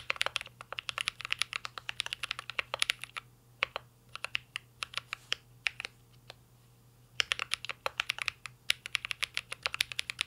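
Fingertips of both hands type continuously on a mint green Cyberboard R3, a full-size mechanical keyboard with a hollow metal case, plastic keycaps and an LED matrix panel, resting on a desk. Quick, bright, clacky keystrokes come in dense bursts, thin out to scattered taps through the middle, then pick up again. A faint steady low hum sits underneath.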